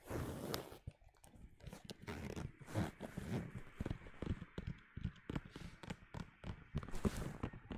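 Fingernails tap and scratch across a flat, hand-sized red pebbled faux leather zip wallet with metal studs. Quick, dull taps with most of their weight in the low range are interspersed with brief, bright scratching bursts. The sounds are close and dry, with almost no ring after each touch.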